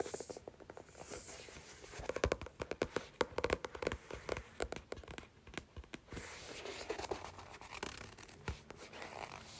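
A thick paperback book with paper pages and a card cover is held in both hands while long nails scratch and tap the cover and fingertips fan and flick the pages. Dry scratching and rustling run throughout, broken by many sharp, quick clicks and taps. The sounds are close, crisp and have almost no ring.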